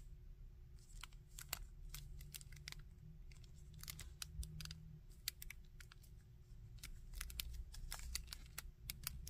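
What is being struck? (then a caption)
Small plastic action figure. Fingertips move the joints of a small red and gold plastic Iron Man action figure and tap and scratch its torso. Quick, sharp, bright clicks and scratchy ticks come in an irregular stream over a steady low rumble and a faint hum.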